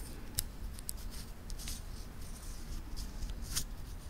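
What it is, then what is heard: Titanium watch band links clicking. Small, solid titanium link bracelet on a wristwatch is held in both hands close to a recorder while the fingertips flex the metal links, clicking and rubbing them together. Bright, sharp metallic clicks stand out at several points over a steady low rumble, with soft scraping between them.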